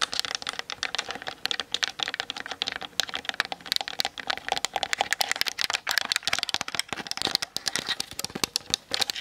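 Long nails tap quickly on the hollow plastic body and lens of a Canon DSLR mounted on a tripod. The result is a dense, steady stream of dry, bright clicks with almost no low end and no ringing after each tap.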